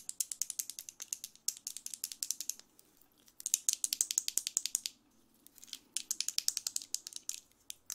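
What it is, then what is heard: Plastic vent hairbrush bristles flicked. Long red acrylic nails scratch and flick the dark plastic bristles of a handheld blue plastic vent hairbrush with a hollow slotted head and a yellow/chrome handle. About 53 rapid, bright, dry clicks come in ratcheting bursts, with two short pauses between runs and no low end.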